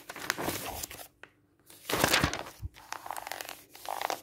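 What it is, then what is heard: Paper catalog pages. Fingertips slide and rub across the thin glossy paper pages of an open catalog lying flat, and pages are turned. Soft, bright papery rustling and crinkling come in bursts, broken by a near-silent pause, with a louder sweeping swish near the middle as a page turns.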